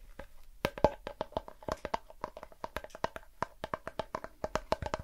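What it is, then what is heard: Cardboard crisp tube. A blue Pringles crisp can, a tall hollow composite cardboard tube with a foil lining, is turned in the hands and tapped or scratched with fingertips and nails close to the microphone. The result is a quick, uneven run of soft, hollow knocks with a resonant tone around 600 Hz, each dying away almost instantly, with faint scratchy texture between taps.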